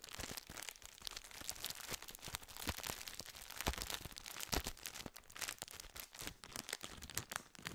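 A full plastic biscuit wrapper is crinkled and squeezed by hand close to the microphone. A steady, bright crackle of crinkling plastic runs throughout, broken by sharp crisp snaps and crunches.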